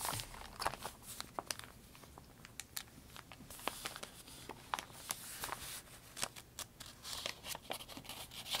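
A thick, open paper notebook with wrinkled, stiff pages lies on a wooden table in dim candlelight while one hand presses the pages and the other writes on them with a pencil. Quiet pencil scratching runs under many sharp, bright crinkles and crackles of the stiff paper, with little low-end body.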